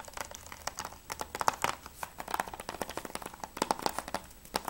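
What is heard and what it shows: Fingertips and nails tap quickly on the front cover and top edge of a closed, hollow plastic PS3 game case for Mirror's Edge. The taps come in a fast, irregular stream of short, dry, clicky hits with a bright midrange tone and almost no low end, each one dying away instantly.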